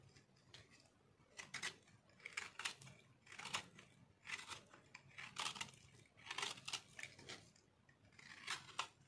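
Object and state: Dry soap bar scraped with a knife.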